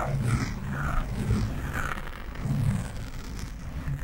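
Fingernails scratch quickly on the sides of a black foam windscreen on a microphone, using both hands. It makes a dense, low, rumbling scratch that swells and fades in waves, with almost no high content.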